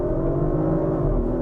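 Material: Nothing is struck.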